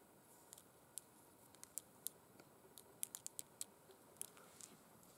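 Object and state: Faux suede gloves tapped and scratched with acrylic nails.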